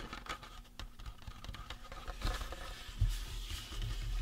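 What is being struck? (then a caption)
Resin prop skull. Fingertips tap and scratch the face and cranium of a life-size painted resin or plastic Halloween prop skull. The result is a soft, irregular patter of short, dull taps mixed with light scratching, heavy in the low end with brief bright flicks. Two slightly louder taps stand out near the middle and just after three seconds.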